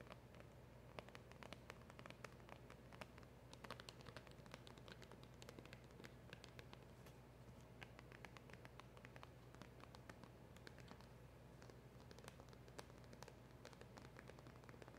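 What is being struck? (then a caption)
Small cardboard box. Long acrylic nails tap and scratch the front and edges of a small, hollow black cardboard packaging box with a round emblem sticker. The result is a quiet, steady stream of rapid, short, dry clicks and bright scratching over a low, constant hum.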